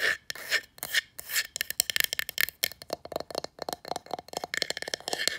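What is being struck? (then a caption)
Small painted wooden box sign. Long nails scratch and rub quickly across the painted surface of a small, hollow, black painted wooden box sign lying face up on carpet. The sound starts as longer rasping strokes, then turns into a rapid run of short, bright, scratchy flicks with almost no low end.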